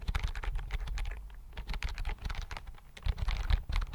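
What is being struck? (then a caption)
Plastic computer keyboard. Fingertips type on the keys of a slim white plastic computer keyboard held close to the microphone. Quick, irregular clicks and soft taps patter along with a low, dull thump under each keystroke and very little ring.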